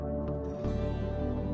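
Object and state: Nothing is struck.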